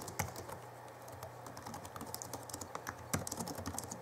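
Fingertips of both hands type rapidly on the backlit chiclet keyboard of a 2011 Alienware M11x2 laptop, whose plastic keys give quick, light, irregular taps with bright clicky edges. A steady low hum sits underneath the soft clatter throughout.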